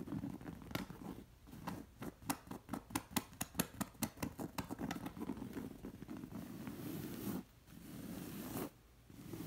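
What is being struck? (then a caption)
Woven fabric cushion cover. Long nails scratch along the ribbed weave of a soft cushion's thick woven zigzag-pattern textile cover. Quick, crisp zipper-like scratches come in a rapid run early on, then settle into a steadier rasping texture. The rasping breaks off with short silent gaps near the end.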